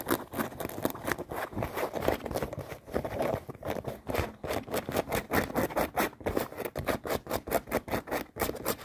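Long painted nails scratch and tap quickly on folded light acid-wash denim jeans with stitched seams, lying close to the microphone. The result is a dense, rapid patter of soft fabric scrapes and dull taps, centered in the mid-range with little deep bass. Each stroke dies away almost instantly.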